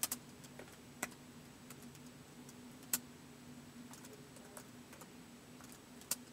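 Fingertips of both hands slowly press the keys of a white plastic laptop keyboard, giving sparse, irregular, bright clicks that stop almost instantly. A faint, steady low hum sits underneath the quiet keystrokes.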